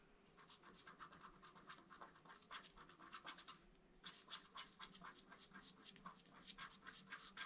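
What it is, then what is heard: Scratch art card being scratched. A long wooden stylus scratches fine lines on the right side of a flat black-coated scratch art card, with both hands resting on the card. Quick, uneven, bright scratchy strokes come at about four per second, each dry and short with no ring. They ease briefly just before the midpoint, then resume slightly louder.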